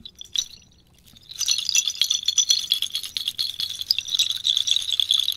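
A cluster of small, hollow, white-painted clay or ceramic bells tied with cord is held by the cord in one hand and shaken vigorously so the bells rattle together. After a couple of light clinks and a brief pause, a dense, bright, high clattering rattle starts and continues to the end.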